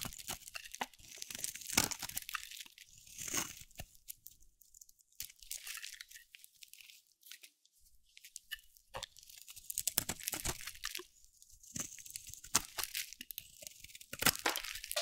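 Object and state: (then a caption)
Dry soap bar being carved. A metal blade shaves a dry, solid round cream soap bar with a teal rim held in the hand, giving crunchy scraping and chipping sounds. The crisp, bright cuts come in quick bursts, with a quieter stretch in the middle between passes.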